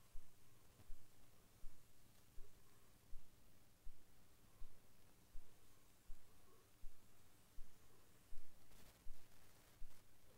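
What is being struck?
Nothing is struck.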